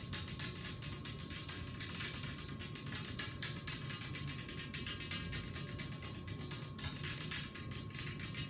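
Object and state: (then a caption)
Glass table top. Long acrylic nails tap rapidly with both hands on a large, flat, solid glass tabletop, with rings worn on the fingers. The result is a dense, continuous stream of bright, sharp clicks with short ringing tails, over a steady low rumble and a faint constant tone.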